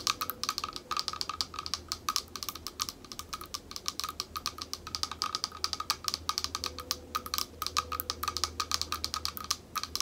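Long nails tap rapidly on the curved surface of a small, thick, clear glass bowl held up in both hands, hollow and empty. It makes a dense, steady stream of sharp, bright clicks that die away almost instantly, each carrying a faint glassy ping around 1.25 kHz, over a quiet low hum.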